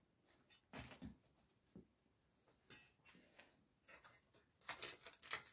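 A gloved hand works a small metal scraper or trowel into the cracks of a thick, cracked slab of dried mud covering a small rug, scraping and chipping the solid, dry, crumbly mud apart. Short, bright, gritty scrapes and crunches come in uneven bursts over a quiet background, growing denser and louder toward the end.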